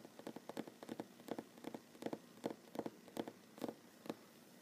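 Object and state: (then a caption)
Wooden table. Fingernails of one hand tap quickly on a large solid wooden tabletop, giving around eighteen short, dry clicks in an uneven rhythm. Each tap dies away almost at once, with a woody, mid-low tone and quiet hiss between strikes.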